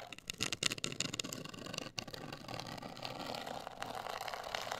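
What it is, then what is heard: Cardboard cosmetic box. Long acrylic nails scratch and tap a medium-size, hollow, black printed rigid cardboard cosmetic box. The sound is a dense, bright, dry scratching with quick, crisp taps that stop short with almost no ring. It dips briefly near the two-second mark, then settles into a steady, hissy scrape.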